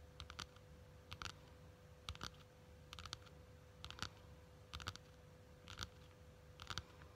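Long nails tap and scratch the quilted cover of a small pink faux leather wallet or case. Quick, bright clicks land in small clusters of two or three, roughly once a second, over a quiet low rumble and a faint steady hum.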